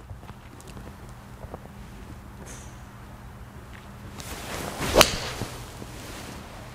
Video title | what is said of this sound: My Top 5 Mid Cavity Irons Of 2018 | so that acoustic maybe just echoes a little bit for me, and I think that's where we get that little bit of a louder crack to the sound